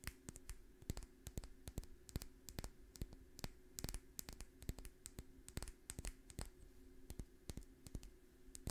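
Long fingernails tap and scratch a small, labeled dark glass essential oil dropper bottle held close to the microphone. A quiet, irregular stream of sharp, dry clicks rises above soft scratching and a faint steady hum, with each tap dying away almost instantly.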